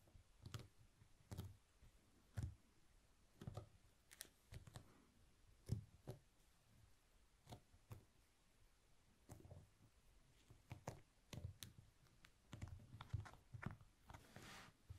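A long, thin honeycomb beeswax candle is rolled on a white cloth, with fingertips pressing and rolling the solid wax cylinder. This produces a steady series of short, sticky clicks with low thuds and brief bright edges over a quiet background.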